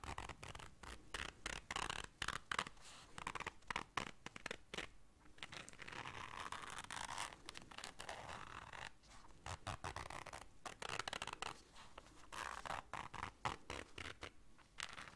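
Long dark nails scratch quickly along the surface and zipper of a small, round, black fabric-covered zipper case. The result is a quiet, dry run of rapid, short scraping strokes with a bright, rasping texture and a midrange focus.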